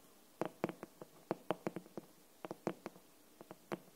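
The glossy green, paper-covered board cover of an upright hardcover copy of "Anne of Green Gables" is tapped and scratched with long nails and fingertips. Fourteen short, dry, hollow taps with a mid-pitched, woody tone fall in an uneven rhythm over a quiet background, each dying away almost instantly.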